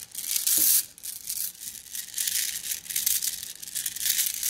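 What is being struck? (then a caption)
Flat glass gems in a plastic mesh bag. A plastic mesh bag of flat blue glass gems is squeezed against a table with fingers, making the gems rattle. The result is a steady, bright, crinkly clicking and rustling that swells and fades in bursts, with almost no low end.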